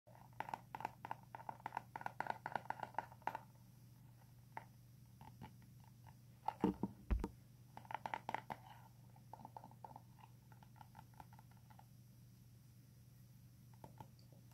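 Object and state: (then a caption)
Plastic hairbrush. Painted fingernails tap and scratch the flat, hard plastic back of a hand-sized pink paddle hairbrush with a Frozen Anna print, held in both hands. Quick, dry clicks come in clustered bursts with short scratchy passages and brief pauses between them. A steady low hum runs underneath throughout.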